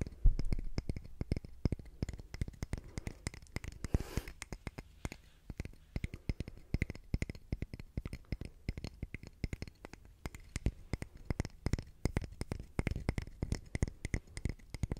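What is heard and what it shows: A solid grey concrete calendar block, about palm length with engraved month names, is tapped and scratched with long fingernails. Dense, rapid, dry clicks and taps dominate the low end, with brief scratchy passes and faint bright ticks, each hit dying away almost instantly.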